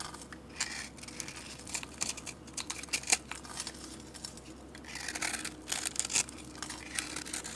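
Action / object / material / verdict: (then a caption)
scrape / bar of soap scraped with a metal blade / soap / none. A metal blade scrapes flakes off a solid purple bar of soap with a scored grid pattern and glitter, held in hand. Soft, bright, crisp shaving and crackling sounds come in dense bursts with short sharper scrapes, over a quiet low hum.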